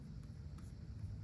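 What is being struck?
Nothing is struck.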